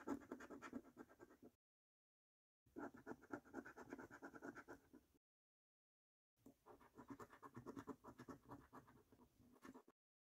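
A coin scratches the latex-coated number panels of a thin, flat paper National Lottery £1 Million Snack Stack scratchcard. Three bursts of quick, rough, grainy scraping are separated by short silences, each with a dry, papery rasp and no ring.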